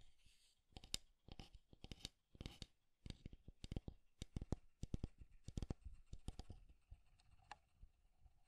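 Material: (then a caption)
Wood. A small, square, light-wood alarm clock with a solid wooden body is held in both hands while fingertips and nails tap and scratch its face, back and sides. The result is a quiet run of quick, dry taps with dull low thumps and brief scratchy bursts that die away almost instantly.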